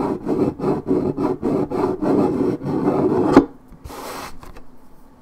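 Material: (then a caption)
Paperboard. Long red nails scratch fast over the scuffed strip of a hollow, coated paperboard orange juice carton, making a run of quick, dry, rasping strokes with a low-mid papery tone. The scratching ends in a sharp tick, followed by a softer, brighter brushing hiss that fades out.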